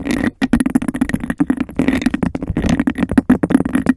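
A clear, textured glass cup held over a microphone is scratched and tapped very quickly with fingernails. The result is a dense, rapid stream of short, hollow taps and scrapes with a resonant tone around 250 Hz, with only a brief pause near half a second.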